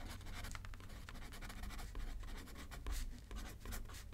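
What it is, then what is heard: Pen writing on a paper card. A pen scratches across a thin paper card resting on a paper pad as someone writes left-handed. The result is a steady, quiet stream of short scratchy strokes with brighter bursts over a low rumble.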